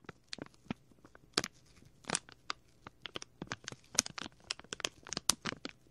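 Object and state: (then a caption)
Clear plastic bag. A small, clear plastic packet with a printed label is crinkled and squeezed by fingertips at the left ear of the microphone. Rapid, bright, crackly crinkles and short crunches come in irregular bursts with very little low end. Each one cuts off almost instantly.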